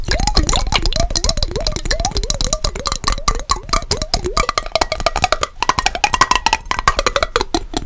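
A small clear glass mason jar with a yellow lid, partly filled with water, is held horizontally in both hands and tapped rapidly on its sides with long fingernails. A fast stream of sharp, bright clicks rides over a hollow, wavering tone that slides up and down as the water shifts. The tone settles into a higher, steadier ring near the end.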